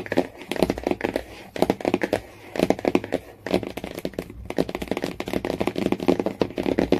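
A Jungle Book hardcover with a yellow cloth-bound spine and a glossy printed board cover lies flat, and long nails and fingertips scratch and tap across its cover and spine. The result is a fast run of short, dry, solid taps with a low-mid body, mixed with scratchy rasps, in quick bursts separated by brief pauses.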